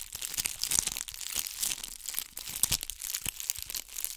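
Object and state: Bead-covered ball scratched with nails.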